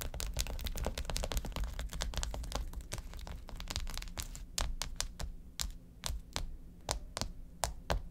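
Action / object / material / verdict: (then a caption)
tap / plastic ice pack sheet tapped with fingernails / plastic / none. Long acrylic nails tap quickly on a filled, flat blue plastic ice pack sheet of quilted cells lying on a table. A dense run of short, crisp clicks and taps fills the first half, then thins into sparser, sharper individual taps, all over a steady low hum.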